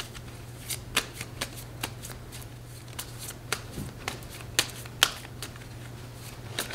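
A coated paper playing card deck with blue patterned backs, held in both hands, is riffle-shuffled and squared by fingertips with long red nails. About eleven sharp, bright card snaps and flutters sound at irregular intervals over a steady low hum.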